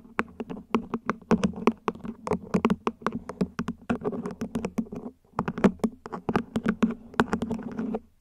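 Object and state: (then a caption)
Plastic plant pot tapped with nails. A small, hollow, mint-green ribbed plant pot, probably plastic, sits upside down while long nails tap its top edge and sides. The rapid, uneven taps are short and dry with a hollow low tone, and they barely ring. A brief pause falls midway before the tapping picks up again.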